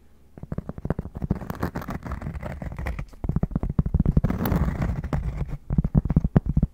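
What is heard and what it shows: Cork being tapped and scratched at close range. Rapid, irregular dull taps with no ring mix with soft scratching. The sound is low and muffled, mostly below 200 Hz, with almost nothing bright.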